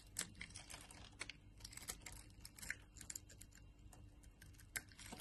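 A utility knife blade carves rows of small cubes off the grid-scored surface of a solid translucent orange glycerin soap bar. Quiet, crisp, bright clicks and snaps follow in an irregular stream, each dying away almost instantly over a soft low hum.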